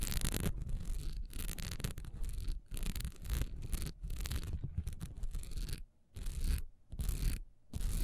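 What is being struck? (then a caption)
Honeycomb-textured wax pillar candle. Long nails rapidly scratch a solid honeycomb-textured wax pillar candle lying on its side, with the hands partly out of view at the end. The result is a dense, rough rasping with a low, rumbling body and a bright hiss on top. It comes in fast bursts broken by a few brief near-silent pauses.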